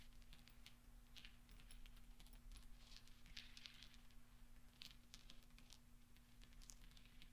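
Small solid steel pachinko balls are rolled and clinked with fingertips and nails on black velvet. Quiet, bright metallic clicks and soft ticks scatter throughout over a steady low hum.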